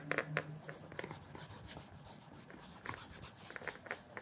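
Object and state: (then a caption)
Leather shoe being polished. A cloth wrapped around the fingers rubs and polishes the leather toe cap of a black leather penny loafer fitted with a wooden shoe tree and resting on a counter. Soft, breathy swishes of cloth on leather come with brief, brighter scuffing strokes at a low, steady level.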